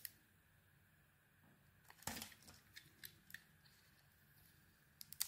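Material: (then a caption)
Soap. A metal blade carves a solid pink-coated white soap bar, scraping and shaving it. Quiet, crisp, bright scrapes and short ticks come over a soft hiss, with one longer, louder shaving stroke near the middle and sharp flicks at the end.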